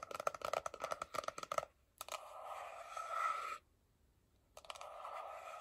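Fingertips and long nails tap quickly across the glossy front and edges of a small, closed, hollow white printed paperboard iPhone box held in both hands, giving sixteen crisp clicks with a hollow ring near 1.3 kHz. The nails then scratch steadily over the surface, producing a bright, hissy scraping that swells before a short silence and resumes for a final stretch.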